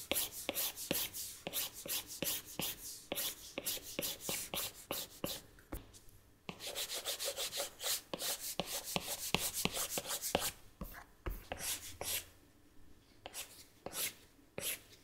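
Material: Glass.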